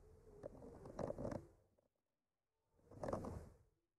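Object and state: Painted wooden art panel.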